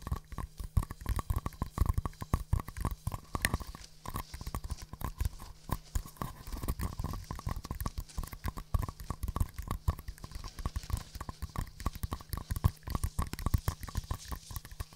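Two small, empty green and white paper cups, hollow, are tapped together rhythmically and tapped with fingernails. The result is a steady stream of quick, dry clip-clop taps with a hollow low thump and very little ring.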